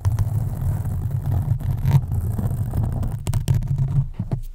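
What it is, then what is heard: Foam microphone windscreen. Long acrylic nails on both hands slowly scratch a black foam windscreen on a USB microphone. This produces a continuous, muffled low rumble with a deep hum-like tone, broken by a few sharp, bright scratchy ticks near the end before it fades out.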